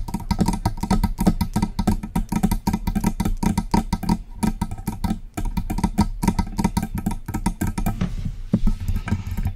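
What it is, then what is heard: Metal microphone being tapped. Long press-on nails tap rapidly on the base of a silver metal USB desktop microphone with a hollow body, then move up to tap the body. The dense, quick taps give short, hollow, low-pitched knocks with little ring, ending in a brief patch of brighter scratchy texture.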